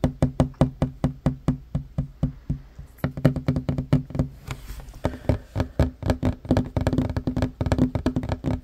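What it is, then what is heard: Wooden table top. Fingertips and short nails tap fast on a flat, solid wooden table top. The result is a long run of dull, low wooden knocks that die away almost at once, with a brief lull near the three-second mark. After that the taps come in denser, overlapping rolls.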